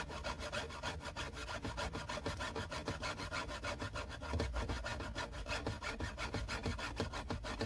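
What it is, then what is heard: Plastic car console trim panel being scratched. Fingertips and short nails scratch a flat, hollow, textured silver plastic trim panel beside the gear selector on a car's center console. The result is a steady run of quick rasping strokes, about three a second, with a dull low body and a dry, bright hiss. The scratching grows a little louder in the second half.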